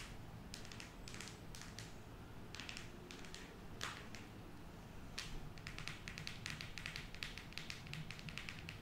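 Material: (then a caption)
Cardboard. Long acrylic nails tap rapidly on a closed, square cardboard eyeshadow palette with a flat, rigid, printed glossy cover, held in the hand. Quiet, dry, bright clicks come in quick bursts with brief pauses, over a steady low hum.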